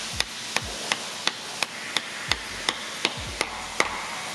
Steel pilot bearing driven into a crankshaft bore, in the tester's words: You can hear the sound change when you're tapping it. You can hear it when it bottoms out. It sounds a lot more solid.